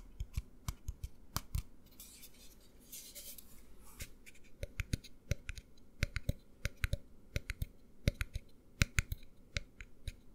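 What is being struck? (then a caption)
Plastic tumbler. A tall white plastic cup, tilted, has its bottom and sides tapped by fingertips and nails, producing quick, dry clicks and knocks with no ring. An irregular run of taps is broken by a brief stretch of soft scratchy rustling before the tapping picks up again.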